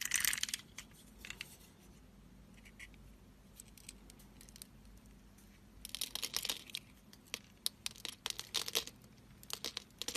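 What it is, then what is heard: Soap bar being carved. A blade slices into the scored grid on a solid, blue, oval Pearl soap bar held in the hand, cutting small cubes that fall away to reveal white soap underneath. Crisp, bright, crumbly scraping and crackling bursts open the clip, fade to faint scratches over a low hum, then return in a dense run of sharp cuts toward the end.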